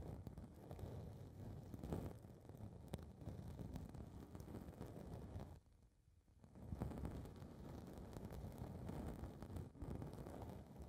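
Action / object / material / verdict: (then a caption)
scrape / foam microphone windscreen / foam / none. Long red nails scratch and rub a small blue foam windscreen ball covering one capsule of a metal handheld recorder mic. The result is a dense, low, muffled rumbling and crackling rustle. It drops to near silence for about a second midway, then resumes.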